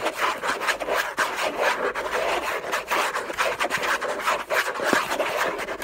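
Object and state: Cardboard box scratched with nails.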